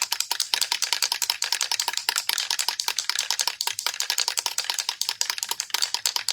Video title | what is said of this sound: 🎥 Part Two: Adding Foil Flair to the Details! | It has a ball in there. So we call it a rattle can.